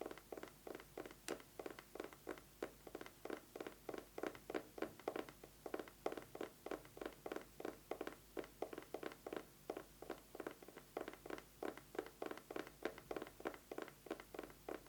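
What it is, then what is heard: Eyeglasses case. An eyeglasses case is tapped quickly with fingernails: about 73 short, dry taps in a steady, even rhythm. Each tap is quiet and hollow with a mid-range knock and almost no ring, and there is little deep or bright content.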